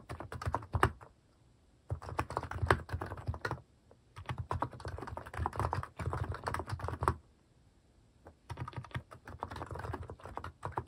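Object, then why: Plastic mechanical keyboard. Fingertips type on a cream plastic mechanical keyboard fitted with plastic cat and paw keycaps. Rapid, deep, muted clacks come in four bursts separated by short quiet pauses.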